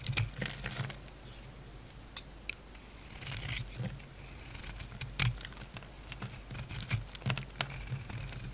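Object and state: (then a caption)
Bar of soap being shaved. A solid oval soap bar with a purple coating over a yellow core, held in the hand, is shaved with a metal utility knife blade, and curled shavings fall off. Soft scraping strokes mix with a patter of short, crisp, bright ticks and clicks over a steady low hum.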